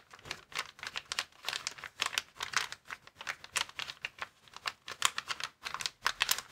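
Fingertips press, tap and scratch a flat, clear plastic air-column packaging cushion bag lying on a table. They produce a steady run of quick, bright, dry crinkles and crackles in short bursts. Each sound stops almost instantly, with no low rumble.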